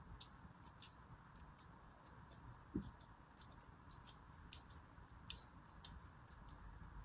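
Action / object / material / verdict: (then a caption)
scrape / molded kinetic sand block / kinetic sand / none. A small, palm-sized piece of solid molded yellow kinetic sand is held in the palm and scored repeatedly with the tip of a thin metal blade. The result is quiet, bright, crumbly scratching and crisp ticks at an irregular pace, with one duller low knock partway through, over a faint steady hiss.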